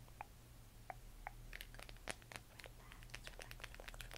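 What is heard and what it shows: Long painted nails tap and scratch the textured surface of a hollow plastic LED moon lamp glowing cyan, up close. Three spaced, short hollow taps with a faint mid-pitched tone open the clip, then give way to a quick, busy run of bright clicks and crinkly scratches. A steady low hum sits underneath throughout.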